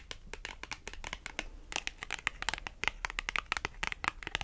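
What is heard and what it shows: Long almond acrylic nails tap and scratch along the face and edge of a small, thin, flat dark blue printed cardstock clothing price tag (France Rugby) held in the hand. Quick, bright, crisp clicks and scratchy rasps come in a dense, uneven stream, each dying away almost instantly, with little low end.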